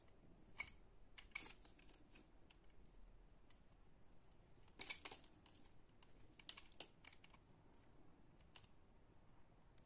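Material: Soap.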